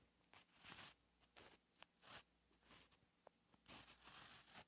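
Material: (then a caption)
Paper. A white gel pen held in the fingers writes Korean letters on a flat, lined page of a paperback notebook lying on a surface. Quiet, bright scratching strokes of the pen tip on paper come in short bursts separated by pauses, with a few sharp little ticks between them.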